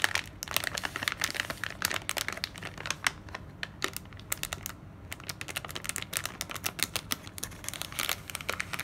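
A kraft paper sleeve with a plastic window is rubbed with the palm and scratched with long nails. This makes a steady run of dry, bright crinkling and rapid scratchy ticks. Many of the crackles are short and sharp, with only a quiet low rumble underneath.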